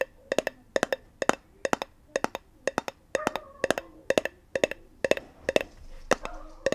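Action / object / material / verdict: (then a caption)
tap / small metal tin / metal / none. Long nails tap and click on the lid and rim of a small round metal tin with a pink label. Quick clusters of sharp, dry clicks with a ringing metallic tone around 600 Hz come in a steady rhythm, with a faint hiss building in the gaps toward the end.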